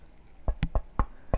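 Five knocks on the aluminum case of a Keychron Q1 keyboard with foam inside, a knock test. Each knock is a short, dull, low thud that dies away almost at once. The case sounds acceptable, not bad, when knocked.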